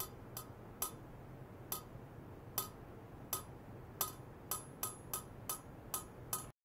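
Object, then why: Stainless steel pipe tapped with a thin metal rod. A long, polished stainless steel pipe about 4 cm across, resting on white foam-net sleeves, is tapped from below by a thin metal rod. Twelve sharp metallic clinks sound at an uneven pace, each with a bright, high ring that dies away quickly over a steady low hum.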